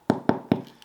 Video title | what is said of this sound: No Knead Bread - 3 Hours vs. 12 Hours - Beginner Bread Recipes | if it sounds hollow like that it's perfectly cooked on the inside